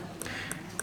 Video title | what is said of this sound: The sound of ankylosis | That has a slightly duller sound because you've got the periodontal ligament, which means that you have a soft tissue barrier between the bone and the root